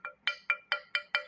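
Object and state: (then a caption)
Plastic cup, not ceramic. Six quick clicking taps on a plastic cup, not a ceramic one, each a short, bright tick with a faint ringing tone that dies away almost at once. The taps come at a steady pace, and together they show the cup is plastic.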